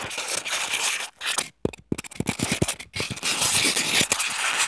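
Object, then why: Expanded polystyrene block. A small, solid white expanded polystyrene (styrofoam) block resting on a wooden table is scratched and rubbed with the short fingernails and fingertips of both hands. The result is a dense, bright, squeaky scraping texture. Midway it breaks into a run of short, separate scratches before returning to continuous rubbing.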